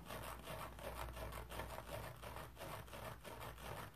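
Fingertips and nails dry-scratch a palm-sized round sponge covered in shiny stainless steel mesh with a yellow plastic rim, lying on a towel. The result is a quiet, continuous, crackly scratching with repeated, fairly steady strokes over a low, soft rumble.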